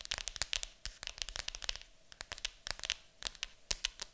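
Long acrylic nails scratch and tap on the lid of a large, hollow, printed cardboard board game box. The result is a quick, irregular run of dry, bright clicks and scrapes with almost no ring, set against a faint, quiet hiss.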